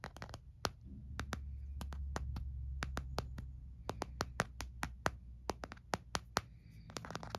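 Fingertips and nails tap and scratch the back of an empty white hard plastic phone case held in the hand. Sharp, bright, irregular clicks ring out over a steady low hum, with faint scratching between them.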